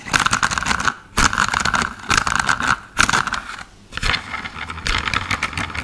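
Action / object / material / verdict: scrape / plastic toy car / plastic / none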